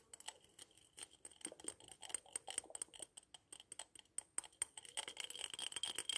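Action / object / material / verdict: tap / glazed porcelain figurine / porcelain / none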